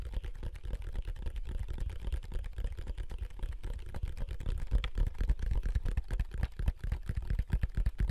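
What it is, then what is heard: Plastic handheld game console, tapped and buttons pressed. A large, wide, hollow black plastic handheld game console is held in both hands while fingertips and thumbs press its buttons and tap the casing. The result is a quiet, continuous stream of rapid, dull clicks and taps, deep and thuddy with almost no bright content. Each one stops almost instantly.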